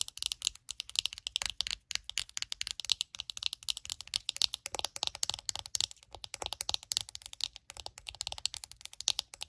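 Long nails rapidly tap and scratch the glossy, hollow plastic back and the bristle pad of a purple Wet Brush detangling hairbrush. The result is a fast, steady stream of dry, bright clicks and scratchy ticks that stop almost instantly, with nearly no low end.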